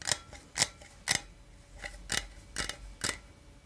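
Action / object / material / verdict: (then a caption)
scrape / aluminum drink can / aluminum / none. A small, hollow, printed aluminum energy drink can, held in one hand, is scratched with the fingertips and nails of the other hand. About eight short, bright, scratchy rasps come at an uneven pace, each with a thin metallic edge near 2 kHz. Each one dies away almost instantly.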